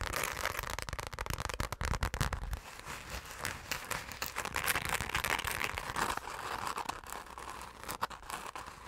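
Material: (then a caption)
Glitter fabric. Long nails scratch fast across a hand-sized, hollow, dark purple glitter-coated fabric zipper pouch, making a dense, rapid crackle of bright, gritty scrapes. Heavier low thumps sit under the scratching for the first few seconds, then it continues as a steady rustling crackle.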